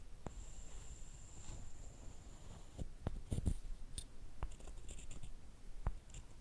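A short solid wooden stick is rubbed and scraped against a longer flat wooden piece, with long painted nails nearby, making a soft, dry wood-on-wood scratching over a low rumble. Sharp little clicks and taps cut through the scraping, and a faint high steady whine runs through the first half.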